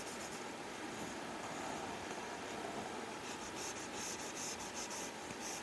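A plastic Apple Pencil tip scratches and draws short strokes across a flat glass iPad screen covered with a matte plastic screen protector. A steady, soft, papery scratching hiss runs throughout, with brighter, quick stroke bursts clustering in the second half.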